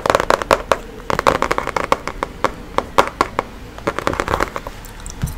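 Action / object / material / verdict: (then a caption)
tap / cardboard box holding a card deck / cardboard / none. A printed, book-sized, hollow cardboard box of Chakra reading cards with a card deck inside is tapped and scratched with fingernails. Quick, dry clicking taps and brief scratches come in clusters, each crisp with a slight papery resonance and almost no ring.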